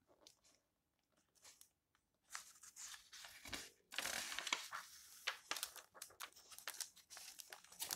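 Fingertips with long nails rub the yellowed paper pages of an open old book, then turn a page. Quiet, dry scratching and rustling starts out sparse with short gaps, then grows into a louder, bright, crinkly rustle as the page is turned, followed by a run of quick, crisp paper rustles.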